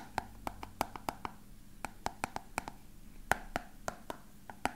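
A small, hollow, frosted translucent plastic box with a printed label, apparently empty, is held up and tapped with fingertips and nails. Nineteen quick, dry taps land at an uneven pace, each a short hollow click centered around 750 Hz that dies away almost instantly.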